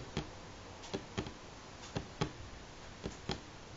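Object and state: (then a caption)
Wooden tabletop. Fingernails tap slowly on a solid light pine wooden tabletop, giving seven short, dry, clicky knocks with a low woody body and a quick decay. The taps come unevenly, often in close pairs, over a faint steady background hiss.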